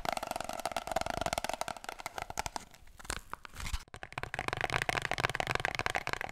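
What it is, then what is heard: Empty cardboard paper roll tube. Long fingernails rapidly tap and scratch an empty, hollow brown cardboard kitchen-roll tube held in the hands and tilted sideways. The quick, dry clicks have a hollow, boxy ring. The tapping eases into softer scratching midway, then picks back up at full pace.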